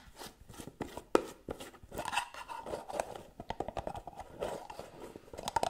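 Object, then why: Small cosmetic jar with metal lid. Long nails scratch and rub the gold metal lid and rim of a small round white cosmetic jar held in one hand. The result is a fast, dense run of dry scratches, scrapes and short tapping clicks centered in the midrange, with one sharper, louder click early on. Each contact stops almost instantly with no ring.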